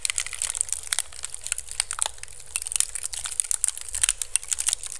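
Fingertips and nails scratch quickly over a hollow, empty pink woven bamboo basket turned upside down over the microphone. The result is a dense, continuous crackle of short, bright, dry scratches with rapid uneven peaks and almost no ring, over a faint low rumble.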